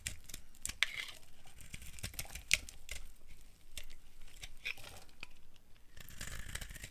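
A solid orange bar of dry soap is held in the hand and scraped and carved with a flat blade, peeling off shavings. Irregular, crackly scraping and crumbly rasps fill the clip, punctuated by a couple of sharp, bright clicks with almost no ring.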